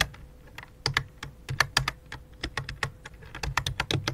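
Fingertips type on the main keys and numpad of a full-size white and light-blue plastic computer keyboard with a hollow plastic body. Some twenty short, clicky keystrokes land in an uneven, quick rhythm, each a dry, bright tap with a hollow low thump that dies away at once. A faint steady hum sits underneath.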